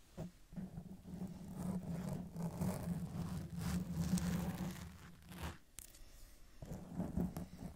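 Long decorated acrylic nails slowly scratch and rub a black foam windscreen on a silver Blue Yeti microphone from both sides. The result is a muffled, low, rumbling scrape with a steady low hum that swells and fades. It drops out briefly near the six-second mark, then resumes.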